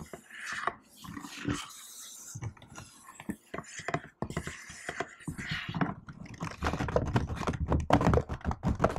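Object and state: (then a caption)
Laptop keyboard with plastic keys, typed with long nails. A hand moves softly over the plastic keys of a laptop keyboard with faint brushing and scattered light taps, then types with long nails. The typing becomes a dense, irregular run of sharp clicky taps that grows louder toward the end.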